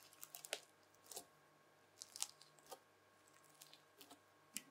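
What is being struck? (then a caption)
Bubbly slime pressed with a plastic fork. A folded lump of red bubbly slime is pressed and lifted with a white plastic fork, giving quiet, irregular bright crackles and pops. Some dozen short, crisp bursts stand apart over a low steady hum, each dying away almost at once.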